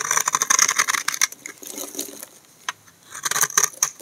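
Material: Soap.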